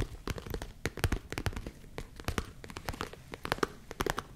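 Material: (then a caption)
Leather. Long nails scratch and tap the sides of a small, hollow tan leather zip case held close to the mic. Quick, irregular dry taps mix with scratchy, crinkly rubbing, giving a soft low thump under bright clicks. Each tap dies away almost at once.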